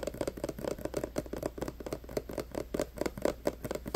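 Short nails tap and scratch a clear plastic hand sanitizer bottle full of green gel, held close, working over both the plastic and its label. It makes a fast, uneven run of about twenty dry, quiet clicks and scrapes, each cut off almost instantly, with a hollow midrange tone and little bass.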